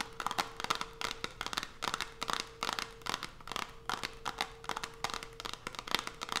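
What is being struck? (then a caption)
Closed cardboard soap box with soap inside. Long pointed nails tap rapidly on the top and edges of a small, closed white cardboard Coast soap box with the soap inside, resting on a dark cloth. The result is a fast run of dry, bright clicks and crackly scratches, each dying away almost at once, with a faint steady tone humming underneath.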